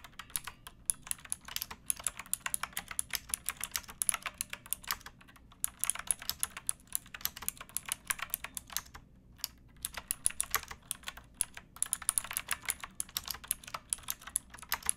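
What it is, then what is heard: Plastic mechanical keyboard. Both hands type with fingertips and nails on a pink backlit mechanical keyboard with plastic keycaps, producing rapid, bright, clicky keystrokes. The very short taps come in dense bursts with a few brief pauses over a low, steady hum.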